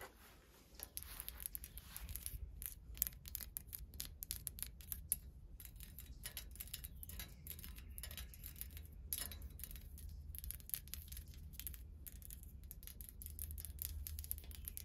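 Fingertips and long nails tap and scratch along the thin rods of a hollow, white-painted metal wire plant stand with scroll curls, lying on grass. Quiet, dense, rapid ticks and scrapes with a bright, high metallic edge sit over a steady low rumble throughout.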